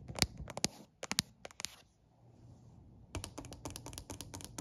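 Fingertips and nails drum quickly on a solid, dark-stained wooden plank surface, possibly a stair step or bench. Sharp, bright clicks come in uneven bursts, then fall to a soft hush for about a second. A denser run of rapid taps follows.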